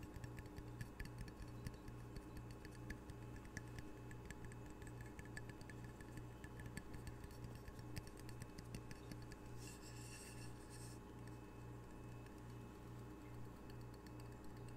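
A small square glazed ceramic coaster with a red octopus print, solid and held in the hand, is tapped with long fingernails on its face and edge. Quick, dry ticking taps with almost no ring repeat steadily over a low, constant hum, with a brief brighter hiss partway through.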